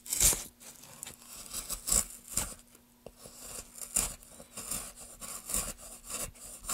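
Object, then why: Pine wood block. Gloved hands carve a solid pine block with a wooden-handled metal gouge, raising wood curls. A series of short, bright, crackling scrapes comes in uneven strokes over a faint steady low hum.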